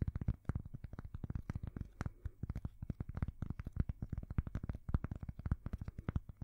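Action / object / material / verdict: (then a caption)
tap / thin cork coaster / cork / none. A thin, solid square cork coaster is held near a microphone and scratched and tapped with long fingernails. A rapid, steady stream of soft, dull, low taps and scratches sounds with almost no ring, each stroke dying away at once.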